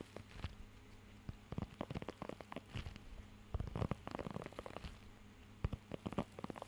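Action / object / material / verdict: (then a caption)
scrape / rubber pet grooming glove with nubs / rubber / none. Fingertips scratch and tap across the raised nubs of a blue rubber pet hair grooming glove held close to the mic. Soft, dull scratches and short muffled taps come in uneven clusters over a faint low hum, with most of the energy in the low range and very little brightness.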